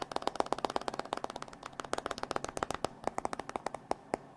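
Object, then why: Glass and metal smartphone. A hand-sized, solid modern smartphone with a glass screen and metal frame is held in the hands and tapped with fingertips and nails on its screen and edges. About 27 quick, dry clicks rattle out in an uneven run with almost no ring, each centred around 680 Hz with bright, sharp tops and very little low end.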